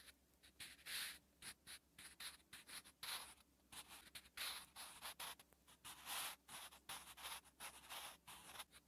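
A wooden graphite pencil writes characters on a lined paper notebook page in continuous scratching strokes. Bright, dry scratches come in short bursts separated by brief pauses, with almost no low end.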